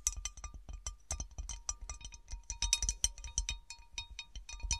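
Long dark painted nails tap and scratch the patterned top of a large, round, divided serving platter of textured cut glass, solid and empty, before the dish is tilted. A quick run of sharp, bright clicks sounds, each with a brief high glassy ring that dies away almost at once, mixed with soft scratching between the taps.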